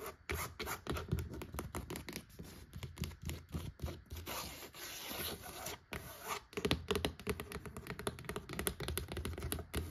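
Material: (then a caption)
Cloth, board. Long acrylic nails tap and scratch across the red cloth cover and along the spine edge of a closed, medium-sized, solid vintage hardcover book lying flat on a wooden parquet floor. Quick, dry taps with a soft low thud come in dense bursts, broken by a steadier stretch of raspy scratching partway through. The result is an uneven, crackly texture of clicks and rubbing.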